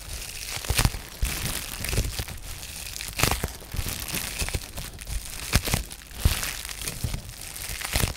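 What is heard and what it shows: A sheet of blue-tinted polyethylene bubble wrap with small air-filled bubbles is held in both hands and crinkled and flexed by fingertips and short painted nails. Dense, continuous crinkling and crackling fills the clip, with sharper bright snaps standing out every second or so over a low rumble of handling.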